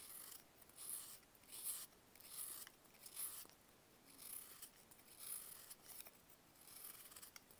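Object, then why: Dried baking soda block cut with a blade. A box-cutter blade carves a solid, dried block of baking soda into slabs. Each stroke makes a soft, bright, dry scraping crunch with almost no low end and little ring. The strokes come in an uneven run of bursts throughout the clip.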